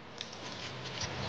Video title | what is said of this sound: TOULOUSE : 7 jours dans les secrets de la VILLE ROSE - Reportage Complet - BSF | le bruit comme elle craque. Ça craque ça veut dire que c'est ferme.